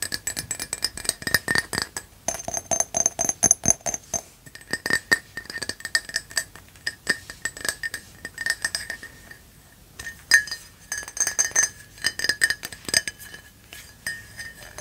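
Long nails tap rapidly on the outside and rim of an empty black ceramic coffee mug with a red rim and printed faces. The sound is a dense run of sharp, bright clicks and clinks, each with a short glassy ring near 2 kHz and higher. There is a brief lull before the tapping picks up again.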